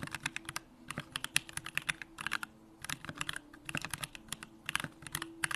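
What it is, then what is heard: Mechanical keyboard being typed on. Fingertips type continuously on a Bakeneko65, a 65% mechanical keyboard with a hollow aluminum case, Durock lavender switches and pink plastic keycaps. The keystrokes come as a rapid, uneven run of crisp, bright clacks that stop almost instantly, with little low-end weight.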